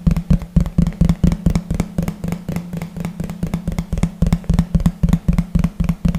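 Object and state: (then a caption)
Plastic plate tapped with fingertips. A large, thin, hollow yellow plastic plate is moved from the side to behind the microphone and tapped with the fingertips of both hands. About 28 quick, dry, hollow knocks follow in a fast, uneven rhythm, each with a low resonant tone near 172 Hz and almost no ring.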